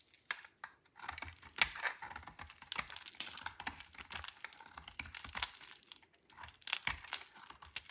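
The remaining piece of a dry white soap bar, held in the hand, is shaved with a metal blade. Many quick, crisp scrapes come in a busy run with brief pauses. The sound is bright and crinkly with little low end, and each scrape stops short with no ring.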